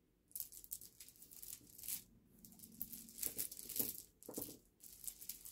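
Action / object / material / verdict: scrape / pile of small smooth river pebbles / stone / none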